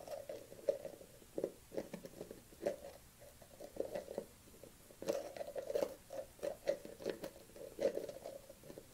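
A dark plastic collagen supplement tub is held in the hand while long nails tap and patter on the rim of its lid. The clip is a run of quick, light, irregular taps in clusters, each with a hollow mid-pitched plastic tone that dies away almost at once.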